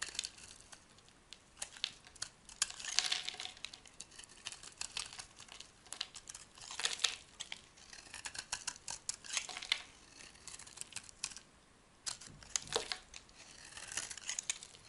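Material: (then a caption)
Soap. A metal utility blade scrapes a solid white oval bar of soap held in the hand, shaving off dry, powdery flakes. Bright, crisp scraping and crinkling strokes come in irregular bursts with almost no low end, each one short and dry with no ring.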